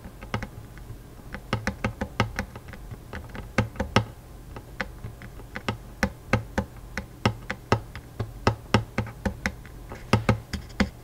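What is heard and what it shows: Fingertips tap rapidly on the metal strings over the soundhole and fretboard of a Taylor acoustic guitar with a hollow wooden body. The result is an irregular run of short, dry taps, each with a low hollow thump and a bright click that dies away almost at once.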